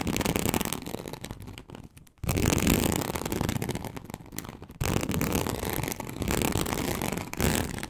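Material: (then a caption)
Leather. A large flat teal snakeskin-textured leather sheet, likely faux, lies on a table and is scratched slowly with long acrylic nails on both hands. The scratching sounds like a dense, continuous rasp with low, rumbling scrapes. It drops briefly to near silence around two seconds and again just before five seconds, then resumes.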